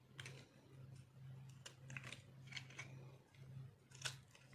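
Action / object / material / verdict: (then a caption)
scrape / soap bar carved with a metal blade / soap / none. A metal blade scrapes and carves crunchy shavings from a solid, dried orange soap bar held in the palm. Short, bright, crisp scraping bursts come in uneven bursts over a steady low hum.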